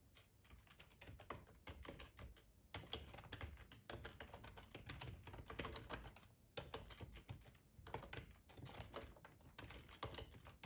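Fingertips of both hands type on a black plastic ergonomic split computer keyboard with a hollow housing, lying on a tablecloth. Rapid streams of short, clicky key taps carry a low, hollow thud beneath brighter clacks. The typing comes in bursts separated by brief pauses.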